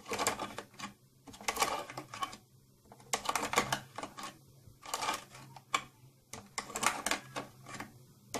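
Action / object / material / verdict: tap / round plastic case / plastic / none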